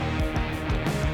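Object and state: Nothing is struck.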